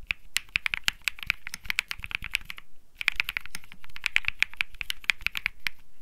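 A cream Think 6.5 mechanical keyboard with Bsun Lollipop switches and plastic keycaps is typed on by one hand's fingertips. It produces a steady run of short, crisp clacks with a bright click centered near 2.4 kHz, a soft low thud under each stroke, and a brief pause around the midpoint. Each keystroke dies away almost instantly.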